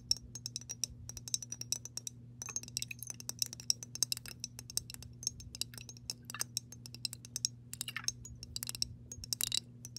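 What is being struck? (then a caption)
Glass mason jar with water. Long nails on both hands tap rapidly on the glass base of a mason jar partly filled with water, with the base turned toward the viewer. Dozens of quick, bright clicking taps with a faint glassy clink come in dense, uneven bursts, each dying away almost instantly. A steady low hum runs underneath throughout.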